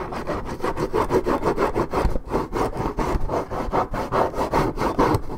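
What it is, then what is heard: Paperboard juice carton being scratched. Long nails scratch the top and side of a hollow Minute Maid orange juice carton made of coated paperboard and held in the hand. The result is a steady run of quick, rhythmic rasping strokes with a dry, papery texture, concentrated in the low-mid range.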